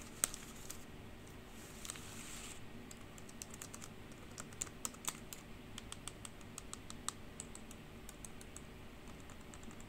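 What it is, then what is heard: Plastic computer keyboard. Long pink nails tap and type on the hollow keys of a black plastic computer keyboard, including taps with the nail of one finger, while the forearm briefly covers the keys. The result is a quiet, uneven run of sharp, bright clicks and clacks that stop dead with no ring. A soft low hum sits underneath throughout.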